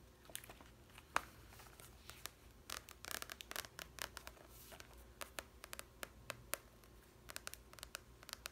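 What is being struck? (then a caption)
Glossy cardboard softcover book cover. Long nails tap and scratch the glossy cardboard cover of a large softcover language book. Quiet, bright, scratchy rasps are broken by many sharp, dry clicks that stop instantly, over a faint low hum.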